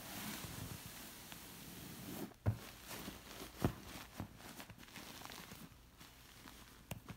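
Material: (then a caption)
Woven fabric. Long nails scratch across a thick, zigzag-woven textured fabric pillow after a hand rests on it, giving a quiet, soft, crinkly rustle. Four dull, low taps stand out against the steady scratching.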